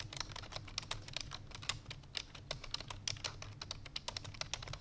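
Fingertips with long painted nails type rapidly on a full-size black plastic computer keyboard resting on a white fur rug. About thirty quick, bright, clicky taps with very short decay fall in a fast, uneven stream over a steady low hum.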